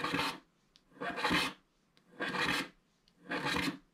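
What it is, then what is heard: Wax-coated scratch art card being scraped. A wooden stick scratches the coating at the lower right of a flat black wax-coated scratch art paper card. Four separate rasping strokes are heard, each a dry, bright, broadband scrape about half a second long, with short silent pauses between them.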